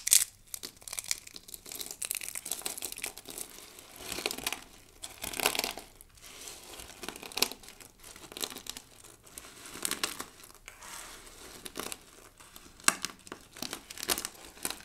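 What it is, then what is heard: Dry soap shavings being crushed. A heap of thin, dry pink and blue soap shavings is pressed flat and crushed against a table by hands with long nails. Dense, bright crinkling and crunching continue throughout, with louder crushing bursts and very little low end.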